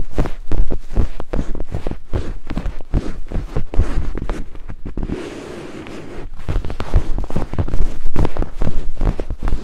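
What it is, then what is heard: Silicone microphone ear scraped. Two thin wooden picks held in the fingertips scrape and tap against white silicone binaural microphone ears. The result is a dense, irregular stream of deep, muffled thumps and rubbing close to the mic, easing briefly into a softer, smoother scrape midway before the rapid tapping resumes.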